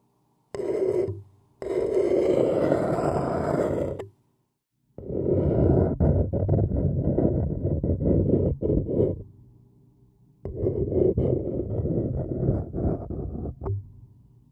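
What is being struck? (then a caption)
Paper cup scraped by a thin wooden stick. A thin wooden stick scratches around the rim of a hollow, seemingly empty printed white paper cup. The result is a rough, low, roar-like scraping with a steady mid-low tone, heard in four bursts separated by short silences. Fast, uneven strokes run through the longer passages.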